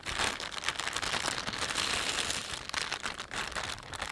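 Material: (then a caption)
Plastic film. Fingertips rub and crinkle the film of a thin, empty panda-print plastic shopping bag. The result is a steady, dense, bright crackling rustle with almost no low end, continuing for about four seconds.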